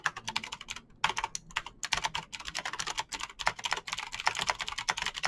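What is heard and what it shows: Fingertips type fast on a Razer BlackWidow backlit plastic mechanical keyboard with clicky green switches, producing a rapid stream of sharp, bright clicks with almost no low end. The taps come in quick bursts with brief pauses just before 1 second and near 1.8 seconds, and each click dies away almost instantly.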